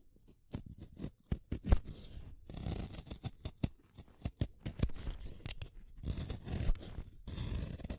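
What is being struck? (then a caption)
Wooden colored pencil in a hand sharpener. A green wooden colored pencil is shaved by the metal blade of a yellow plastic hand sharpener, producing a scraping cut. Short, dry scrapes and clicks alternate with longer rasping stretches of shaving, the sound sitting mostly low and dull with little brightness.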